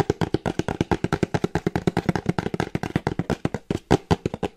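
Long painted nails tap quickly on the top and sides of a small plain brown kraft cardboard box with a barcode label, held in one hand. About 35 short, dry, hollow taps come in a fast, steady run, each dying away almost at once with a dull, low-weighted tone.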